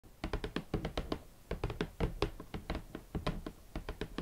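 Fingertips gently tap on the box for Valentino club platform boots in hot pink leather. About two dozen soft, dull taps come in an uneven rhythm, each low-pitched and dying away almost at once with no ring.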